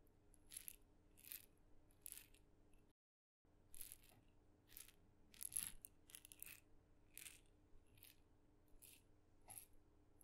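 A single small, red-dotted, painted wooden mini maraca, hollow and filled with beads, is shaken slowly and tapped with fingernails. Short, bright rattling bursts of beads come at a steady pace over a low, quiet background hum, with a brief silent gap near the three-second mark.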